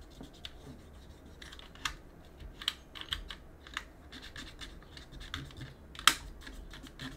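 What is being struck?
Mechanical keyboard with aluminum plate and plastic keycaps.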